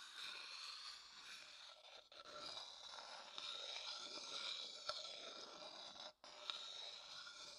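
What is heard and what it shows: The inside of a medium, hollow, empty light wooden bowl, held upright, is scraped with a thin wooden stick. It gives a steady, bright, raspy scraping with a faint high whistle-like tone, broken by brief pauses near the 2- and 6-second marks. A couple of sharp clicks stand out near the 5- and 6.5-second marks.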